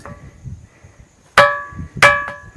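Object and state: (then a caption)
Ringing rock with a bell-like tone. A rock boulder near an idol of Siddhnath is struck twice, and each hit rings out with a clear, bell-like metallic tone. The tone has a mid-high pitch and bright overtones, and it fades over a short decay. Faint low rumble sits under the strikes, and the stone's bell-like ringing is confirmed as genuine.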